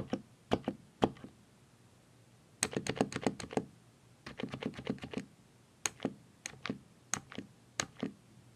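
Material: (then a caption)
Plastic. Fingertips press the Shift, Caps Lock, Ctrl and Alt keys on the left side of a mechanical keyboard with plastic keycaps, giving short, thocky knocking clicks. The presses come in scattered singles and quick bursts, each dry with almost no ring.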